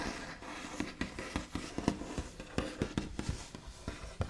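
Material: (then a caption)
Wood. Both hands rapidly tap, scratch and trace with the backs of the nails across the large, solid, smooth top of a white-finished wooden table. About twelve short, dull knocks with a low body stand out over a steady, soft scratching hiss. Each tap dies away almost instantly.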